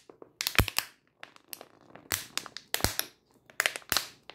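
A full 500 ml clear plastic water bottle is held in the hand and squeezed and crunched with fingers and long nails. The result is a run of sharp, bright plastic crackles and crunches, coming in uneven bursts with short pauses between them.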